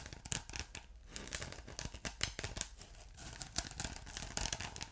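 Fingertips and short nails scratch a ridged blue polyethylene foam block with a glittery texture, soft yet solid. The result is a quiet run of crisp, bright, papery scratching bursts with brief pauses between strokes, each dying away almost instantly.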